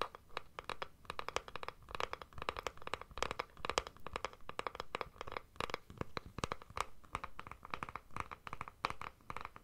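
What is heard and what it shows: A plastic deodorant stick container is held in both hands while long nails scratch its plastic surface. The result is a steady run of quick, dry scratching strokes with a crinkly, mid-to-bright texture, each stroke short with no ring.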